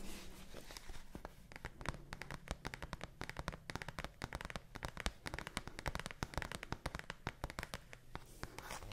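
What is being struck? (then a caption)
Cardboard advent calendar. Fingertips and nails scratch, tap and rub the surface of a large dark-blue cardboard advent calendar held close to a microphone, and its doors may be pried open. The result is a dense run of sharp, dry crackles and clicks with crinkly, tearing textures over a low background hum.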